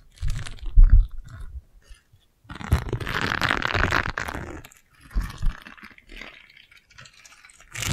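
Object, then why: Silicone scrub pad with bristles. A single round yellow silicone scrub pad with bristles is scratched with long nails and folded between fingers. Soft, low thumps and rubbery crunches come in uneven bursts, with a denser stretch of dry, bristly scratching in the middle. Short pauses fall between the bursts.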